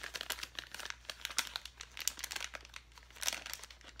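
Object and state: Plastic bag of foam letters.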